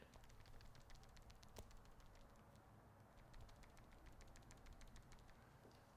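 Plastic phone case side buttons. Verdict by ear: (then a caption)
Loose. An iPhone 15 Pro Max in an Anker magnetic kickstand case with a ring stand is shaken so its plastic side buttons can be heard. A quick series of faint, light ticking rattles plays over a low, steady rumble. The buttons are slightly loose, giving a very slight rattle that comes out only when the phone is shaken.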